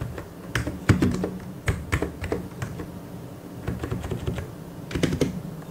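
Fingertips of both hands type on a full-size white and grey plastic mechanical keyboard with Korean keycaps. Irregular bursts of short, low, dull clacks die away almost at once, separated by a brief quieter pause midway through.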